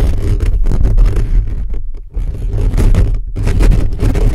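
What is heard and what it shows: Fingertips and nails scratch fast and hard across a hollow black metal mesh microphone grille held close. The result is a dense, continuous low rumbling scrape with a boomy, muffled tone and little high end, briefly dipping near the two-second mark before surging back.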